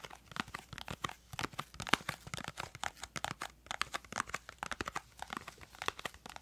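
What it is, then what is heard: Cardboard crayon box. Long acrylic nails tap and scratch a small, hollow, printed yellow-green cardboard crayon box whose contents are not visible. A rapid, uneven series of dry, papery clicks and scrapes plays out, bright and crinkly with little low end. Each tap stops almost instantly.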